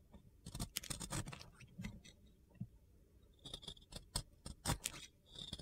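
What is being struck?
Glitter-coated soap bar.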